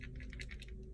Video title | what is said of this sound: How to keep your glasses from messing with your makeup: a Love Story | you can hear a little shaker in there